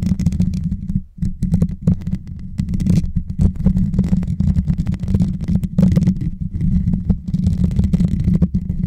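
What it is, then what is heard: Metal microphone grille. Fingertips and short nails scratch and tap the hollow, rounded metal mesh grille on top of a white Blue Yeti microphone. The result is a dense, muffled, boomy rumble of rubbing and soft thumps, almost all deep low end with little brightness. It runs nearly continuously, with a brief lull around one second.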